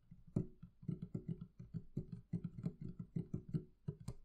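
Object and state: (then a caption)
Wooden barrel chest, hollow. Long nails tap and scratch on the wooden lid top of a hollow, closed wooden barrel-shaped chest. A quick, uneven run of soft, hollow, low knocks sits around 176 Hz, each dying away almost at once, with faint scratchy clicks between them.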